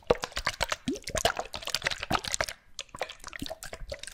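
Small bottles with liquid inside are shaken close to the microphone. Rapid, irregular sloshes, plops and drips of liquid are heard, with short bright clicks against the bottles. A brief quieter pause comes midway before the shaking resumes.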